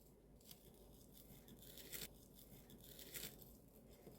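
A cheese-filled tortilla hotteok, pan-fried on low heat, is cut open, giving bright, crunchy crackles over a low background rumble, with the loudest crisp bursts around two and three seconds in. The crunch shows the hotteok is crisp and cooked through.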